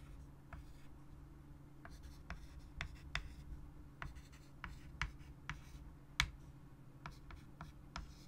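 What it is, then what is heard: Chalk writing on a wood-framed chalkboard. A white chalk stick held in the hand writes words on a large, flat, solid wood-framed chalkboard resting on a table. Continuous scratching strokes are punctuated by short, bright taps and clicks as the chalk strikes and lifts from the board. A steady low hum sits underneath throughout.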